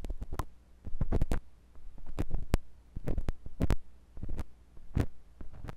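A metal drill-bit tool on a wooden handle, held by a hand with long nails, slowly scratches and twists inside the ear canal of a white binaural microphone's soft silicone left ear. The result is a series of deep, muffled thumps and rubbing rumbles, almost all below 200 Hz, with sharp clicks at irregular intervals. Quieter scraping fills the gaps between them.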